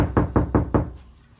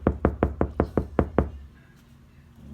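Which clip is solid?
The second.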